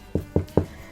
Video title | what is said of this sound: Comment faire son pain ? 🍞 | il suffit de faire toc toc. Voilà, ça sonne creux, donc c'est bon